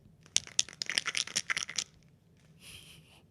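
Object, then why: Plastic container of gummy sweets. A plastic container of Cloudy melatonin sleep gummies is shaken, giving about eight quick, bright, dry rattles of the gummies hitting the plastic walls. A softer, hissy shuffle follows near the end.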